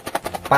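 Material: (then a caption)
Cardboard. Box 1 of a sealed Blokees Saint Seiya blind box, a cardboard box holding three plastic bags of figure parts pressed tightly inside, is shaken. Several short, soft, muffled taps in the midrange are heard, ending with a slightly longer and louder rustle. The box is tightly packed with very little loose space, so the parts barely make a sound, which is normal.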